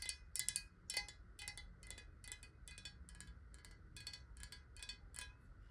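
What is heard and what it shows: Long nails tap quickly on the side and base of a clear, square, hollow glass bottle holding water, which is held tilted. Each tap gives a short, bright, glassy click that dies away almost at once, in a quick, uneven rhythm over a low background hum.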